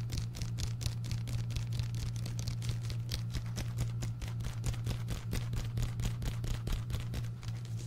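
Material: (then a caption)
Paper. Rapid fingernail tapping on the paper cover and spine of an orange paperback book held beside a microphone. Quick, dry, bright ticks follow each other in an uneven stream over a steady low hum.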